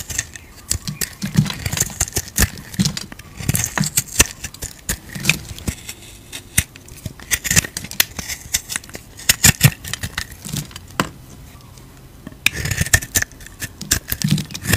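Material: Soap.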